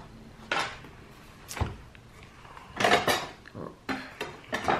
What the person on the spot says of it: Je vais enlever la règle ici. C'est une règle en métal, ça fait du bruit. Chaque fois qu'on cogne dedans.